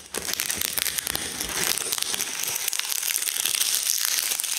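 Gloved hands press, crush and crumple a pile of dried linden leaves on a wooden slab, breaking them into small brittle fragments. A dense, bright crackling and crinkling runs throughout with almost no low end, made of many quick snapping bursts that grow slightly louder toward the end.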